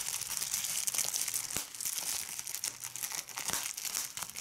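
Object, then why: Plastic bubble wrap sheet. Fingers with red nails crumple and squeeze a large sheet of clear plastic bubble wrap, popping its bubbles. A dense, bright, continuous crinkling is punctuated by short, sharp pops that die away almost instantly.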